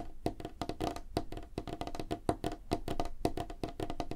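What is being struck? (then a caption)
Wooden tabletop. Fingertips and nails of both hands tap quickly on a solid, light wooden tabletop. The result is a rapid, uneven stream of dry, hollow knocks with a woody tone around 300 Hz and very short ring, some strikes landing sharper and louder than others.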